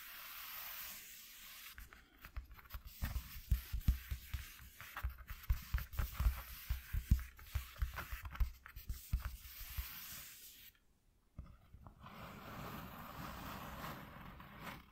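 Fingertips and nails tap and scratch near the edges of a flat white corrugated cardboard piece. A rapid series of dull, low thumps mixes with dry scratching, then falls briefly silent before a softer, steady scratching resumes.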